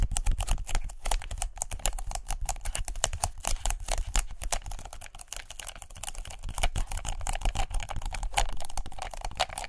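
Long nails tap fast on a white paper lint roller held horizontally by its black handle. A dense, continuous stream of quick, dry clicks and papery ticks runs steadily for about ten seconds, each tap dying away almost instantly over a low, muffled undertone.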